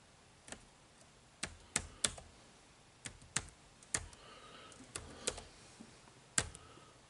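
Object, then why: Plastic laptop keyboard keys. Fingertips type on the dark plastic chiclet keys of a silver-bodied HP laptop keyboard. Ten separate, bright clicks are heard at an irregular pace, each short and crisp with almost no ring, over a quiet background.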